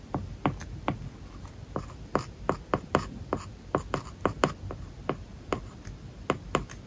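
A plastic stylus writes lines of text on an iPad's solid glass screen covered with a matte, paper-like plastic film. It makes a quiet, steady run of dry scratching strokes punctuated by short, sharp taps that die away almost instantly over a faint low rumble.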